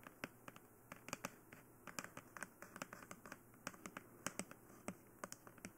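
Long nails tap and scratch across the face and head of a glossy black hollow plastic dummy head microphone. The result is a rapid, uneven series of sharp, dry clicks with very short ring, over a faint scratching texture and a low background hiss.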